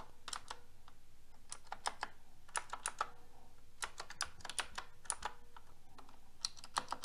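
Fingertips with long red nails press the keys of a pink mechanical keyboard with round plastic keycaps and a metal frame, including the edge keys. The result is an irregular stream of short, crisp, bright clicks and clacks that stop almost instantly, over a quiet background with a faint steady low tone.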